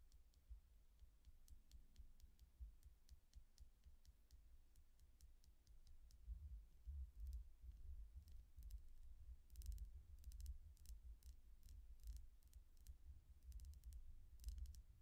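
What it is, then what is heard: Quartz crystal pendant. A small, solid, clear quartz point pendant with inset colored chakra stones is held between the fingers while the index fingernail taps on it over and over. The taps come through as quick, bright ticks that get busier and louder partway through, over a low, steady rumble.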